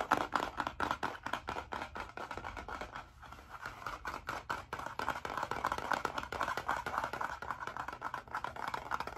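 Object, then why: Spiral-bound notebook with cardboard cover. The blue cardboard cover of a spiral-bound hardcover notebook, held flat behind the microphone, is scratched fast with fingernails. Rapid, uneven bursts of dry, rasping scratches fill the clip, strongest in the mid range, with a brief lull around three seconds before the fast scratching resumes.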